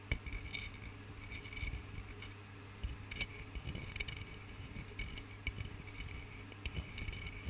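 A small, flat, carved and painted wooden block is held in one hand while the fingernails of the other hand tap and scratch across its surface. Quick, dry, bright clicks and scratchy rustles come in irregular bursts over a steady low hum, with each tap dying away almost instantly.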